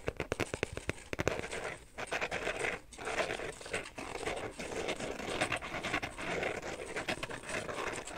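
Fingernails tap and scratch along the rim and sides of an empty carbon fiber pattern phone case held edge-on. A quick run of crisp, dry taps opens the clip, then gives way to steady, bright scratching with brief pauses. The taps are sharp and short, with no ringing.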